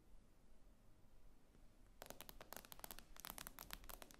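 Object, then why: Tablet with glass screen. Long acrylic nails tap on the glossy glass screen of a tablet lying flat on a table. After about two seconds of faint low hiss, a rapid, irregular run of sharp, bright clicks begins and continues to the end, each tap dying away almost instantly.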